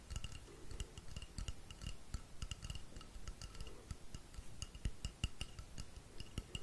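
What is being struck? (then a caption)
Painted wooden rainstick tube. Fingertips tap quickly on the side of a long, hollow, painted wooden rainstick held upright. The result is a steady patter of short, dull low thuds with faint, bright, glassy clicks ringing over them, each tap dying away almost at once.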